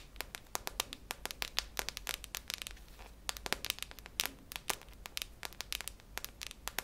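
Long nails tap the metal side of a hollow, cylindrical silver metal tin with a red plastic lid, held near the ear. A quiet stream of rapid, irregular, sharp clicks sounds bright and crisp, each dying away almost instantly, with a brief lull around the middle before the tapping picks back up.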